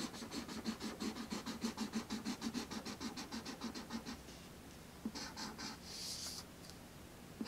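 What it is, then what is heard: Marker scratching on thin paper. A marker tip scratches across a thin sheet of black paper resting on a red wooden tray in quick coloring strokes. A rapid, fairly steady run of dry, bright scratches lasts about four seconds. After a short pause, a few more strokes and a brief, brighter rub follow.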